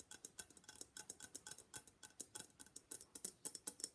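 Long black nails rapidly tap a hollow gold-and-black Venetian face mask, likely papier-mâché, held in both hands. About 28 quick, dry, bright clicks sound in a quick, uneven rhythm over four seconds. Each click dies away almost instantly, with barely any low body.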